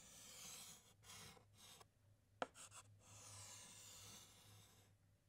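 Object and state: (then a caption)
Chalk writing on a chalkboard. A white chalk stick writes letters on a large, flat black chalkboard, producing bright, dry scratching strokes in short bursts with brief pauses between them. A sharp tap of chalk against the board stands out midway, and a faint steady low hum runs underneath throughout.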